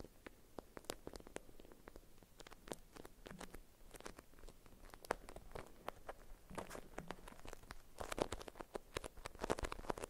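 A printed beeswax-coated cotton food wrap folded around a small bar-shaped item, held in both hands, is scratched and tapped with long white acrylic nails. Quiet, dense, crisp clicks and papery crinkles with very short decay fill the clip, building into busier bursts toward the end.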